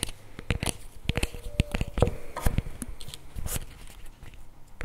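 A CremaNovi paperboard chocolate spread tub with a plastic lid is held tilted in both hands while fingernails tap and scratch the plastic lid. Quick, irregular clicking taps mix with short dry scratching strokes, each tap sharp and dying away almost instantly.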